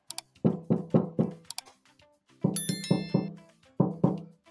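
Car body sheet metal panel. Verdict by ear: Hollow.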